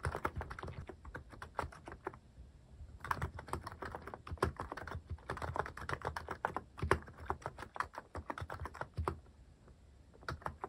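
Fingertips type on a mechanical keyboard with plastic cat keycaps, producing a steady stream of quick, dry clacks with a low thock underneath. The typing comes in bursts, with brief pauses near 2 to 3 seconds and again near the end, and each tap dies away almost instantly.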